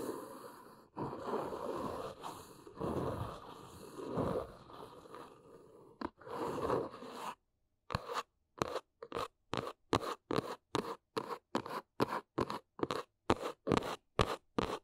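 Long nails scratch across the top of a large brown cardboard box, making a continuous dry, rasping scrape for about seven seconds. After a brief silence, they switch to a steady run of quick, separate scratchy taps. The taps sound crisp and papery, with no ring.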